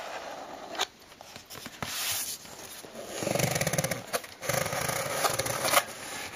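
Fingertips and nails tap on the side wall of a closed, hollow brown cardboard shipping box with a strip of packing tape. Sharp, bright taps alternate with dense stretches of scratchy, rustling nail contact. Each tap gives a short, hollow thud that dies away almost at once.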